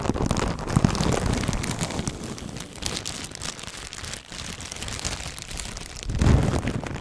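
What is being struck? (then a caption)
Thin plastic bag. A thin clear plastic bag is crinkled and stretched with both hands in front of the microphone. It makes a dense, continuous crackle with a strong low rumble and scattered bright crinkles, loudest at the start and swelling again near the end.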